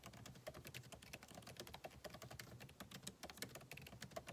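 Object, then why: Plastic laptop keys. Fingertips of both hands type rapidly on a solid, backlit MacBook Pro keyboard with plastic keycaps in an aluminum body, resting on a desk. A steady stream of short, dry clicks and taps with a bright edge overlaps closely, each dying away almost instantly.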